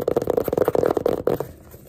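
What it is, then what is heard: Hardcover paper sketchbook. Fingers rub and scratch the cover and page edges of a small yellow hardcover paper sketchbook with a pink page block and an elastic band. A fast run of dry, fluttering scratches and rubs with a muffled midrange tone carries on for about a second and a half, then stops and fades to near silence.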